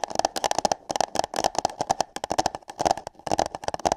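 Long nails tap and scratch on hollow paper cups fitted over a microphone's ears. Quick, dry clicks with a hollow mid-range tone come in uneven bursts, with short bright scratches between them. Each tap ends almost instantly, with no ring.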